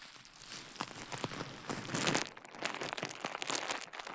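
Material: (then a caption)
Plastic. A small rolled piece of clear plastic bubble wrap, held beside a microphone, is twisted, squeezed and crinkled by fingers. The result is bright, dry crinkling and crackling with many short, sharp snaps, swelling into a denser burst around the middle before easing into scattered crackles.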